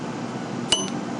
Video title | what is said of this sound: Lathe Tool Grinding Part 2 | If your wheel rings, you're fine.